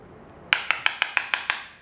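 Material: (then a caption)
Ceramic. A ceramic floor tile on the other side of a room is tapped seven times in quick, even succession, each tap giving a bright, high, short click with almost no ring or low end. The tile sounds solid, not hollow, meaning it is not coming loose from the floor.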